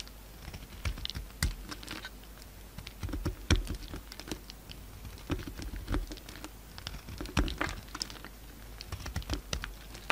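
A solid peach soap bar held in the hand is shaved into crumbly curls with a utility-knife blade. The clip is a steady run of soft, irregular scraping and crackly cutting strokes, with occasional sharper bright snaps and dull low thuds, as the curls break away.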